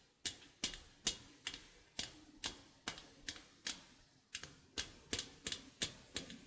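Painted nails pluck and scratch the steel wires of a small stainless steel egg slicer, held in both hands, with a hinged wire frame over a slotted metal base. Seventeen bright, sharp metallic plinks and scrapes land at an uneven pace, each snapping on and fading almost at once with a thin high ring.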